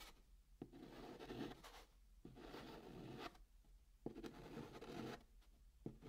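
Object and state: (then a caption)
Chalk drawing on a cardboard box. A hand draws small dots and circles with white chalk on the flat top of a brown kraft cardboard box, using short scratching strokes. Soft, gritty scratching comes in several bursts separated by brief quiet pauses.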